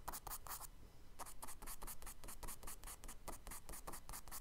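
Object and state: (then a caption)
Charcoal scratching on kraft paper. A charcoal stick makes fast scratching strokes across a tan kraft paper sketchbook page lying flat on a table, drawing tree branches. The strokes come as a rapid series of bright, gritty scrapes, with a brief pause near the one-second mark before the quick scratching resumes.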